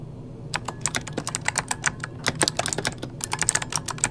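Fingertips of both hands type rapidly on a full-size backlit mechanical computer keyboard with plastic keycaps. After a brief quiet start, about 22 sharp, bright key clicks follow in quick succession, each dying away almost instantly over a faint low background hum.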